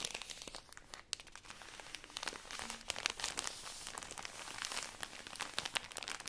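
Long nails and fingertips squeeze and scratch the thin plastic wrapper of a full, tall stack of cotton pads. The result is a dense run of bright, high crinkling and crackling with sharp clicks and almost no low end.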